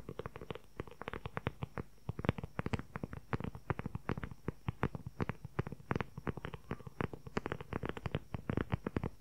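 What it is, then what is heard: Leather journal cover. A closed, hand-sized dark brown leather journal cover with a flap and snap button is held in front of the recorder and tapped and scratched quickly with the fingertips and short nails. Dozens of short, dry, low-heavy taps come in rapid, uneven bursts over a soft scratchy texture, with a faint insect-like noise possibly in the background.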